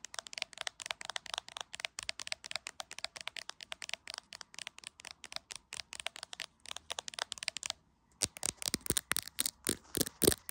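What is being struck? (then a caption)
Smartphone in a plastic case tapped with long fingernails. Long acrylic nails tap rapidly on a hand-sized, solid iPhone in a clear plastic case, seen in a mirror, making a steady stream of about 57 short, bright clicks. After a brief pause near 8 seconds, the nails tap near the camera lens and the clicks return louder and sharper, each one dying away almost instantly.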